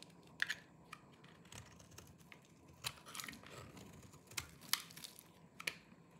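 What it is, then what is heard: Dry soap bar scraped with a knife. A small knife with a yellow-tan blade shaves and scrapes the surface of a hand-sized, solid bar of dry green soap held in one hand, and crumbly flakes fall off. Quiet, dry, bright crunchy scrapes and crackles come in short, uneven bursts with no ring, over a faint low hiss between them.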